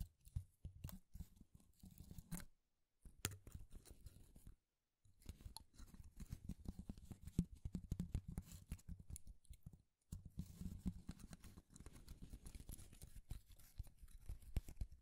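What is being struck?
Thin wooden shaving strips.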